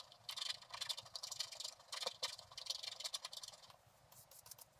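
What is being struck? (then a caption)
Scratch-art paper board scraped with a wooden stylus. A thin wooden stylus held in the fingertips scratches the black coating off a flat scratch-art card, uncovering the gold layer beneath. Quick, dry, high-pitched scrapes and scratchy rasps come in rapid bursts, with a couple of sharper strokes near the middle, then fade to softer scratching at the end.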